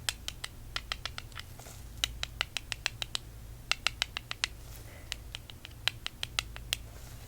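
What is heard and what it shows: A piece of zebra calcite stone is tapped in quick, light clusters, giving short, dry clicks with almost no ring over a faint low hum. The taps sound soft, as expected for calcite, a soft mineral.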